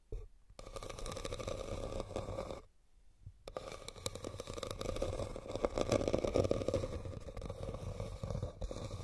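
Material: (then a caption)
Rattan. Fingernails and fingertips scratch and tap across the woven surface of a hollow red rattan basket, making a dense, crackly scraping texture with a hollow resonance around 540 Hz. The scratching runs almost continuously, pausing briefly near the start and again around the 3-second mark before resuming and swelling louder in the middle.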